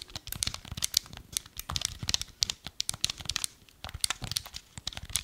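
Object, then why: Hard plastic handheld game controller. Fingertips and nails tap and scratch along a small, hollow, black hard plastic Wii remote held horizontally. The result is a rapid, uneven stream of crisp, bright clicks and dry scratchy rasps, mostly high-pitched with little low end. Each tap cuts off almost instantly with no ring.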